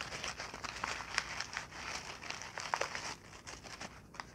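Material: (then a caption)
Paper. A crumpled ball of brown kraft packing paper is squeezed and crinkled in both hands, with fingertips and long nails working the paper. The result is a steady run of dry, bright crackles and crinkles with sharp pops scattered through, and almost no low end.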